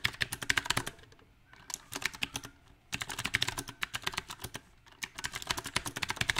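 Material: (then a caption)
Plastic. Fingertips of both hands type on a small 68-key backlit mechanical keyboard with round typewriter-style plastic keycaps on a silver metal plate. Bright, sharp clacking keystrokes come in uneven bursts, broken by short quieter pauses of softer taps. Each click is crisp and ends almost instantly.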